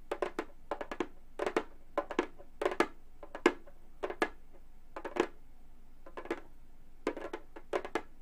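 Gold metal claw nails on both hands tap the synthetic skin head of a hollow Remo frame drum. About 29 short, dry taps come in quick irregular clusters, each a bright click over a brief hollow tone near 350 Hz. Every tap dies away almost at once.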